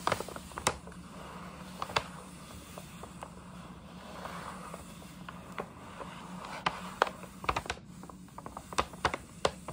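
Long nails tap and scratch across the front and side panels of a hollow, printed paper gift bag. Sharp, papery ticks stand out over a soft, continuous crinkling scratch, with a faint low hum underneath throughout.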